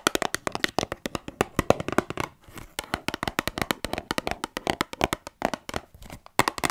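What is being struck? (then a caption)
Small cardboard cotton bud box. A small, hollow, rectangular cardboard box of Johnson's baby cotton buds is held in one hand and tapped and scratched with long manicured nails. Dozens of quick, dry, hollow taps come in rapid bursts, mixed with brief scratchy rustles and a short pause near the middle.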